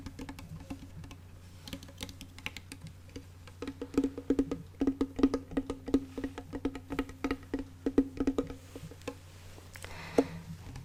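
A small wooden ukulele that looks more like a toy than an instrument is tapped on its wooden body in quick, irregular knocks. Each short, dry tap carries a hollow resonance near 273 Hz and dies away almost at once, over a faint steady low hum.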